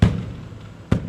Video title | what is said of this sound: RAT ROD TRUCK - TRUCKING VLOG - FAMILY FRIENDLY - The Trucker John Show#118-8 31 2019 | That sounds empty.